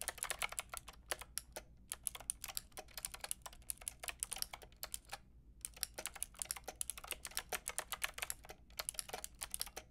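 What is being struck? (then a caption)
Plastic mechanical keyboard with round keycaps. Long painted nails and fingertips type on a white and pink Lofree mechanical keyboard with round plastic keycaps. Quick, bright, clicky plastic taps come in rapid bursts with a few brief pauses, each tap short and dry over a faint low hum.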